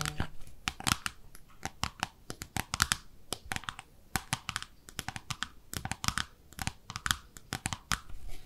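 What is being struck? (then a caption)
Small ceramic soap dish. Long nails scratch and tap a small pink speckled ceramic bathtub-shaped soap dish, first on its underside and then along its side. The result is a rapid, uneven run of sharp, bright clicks and scratchy ticks that die away almost instantly, over a soft background hiss.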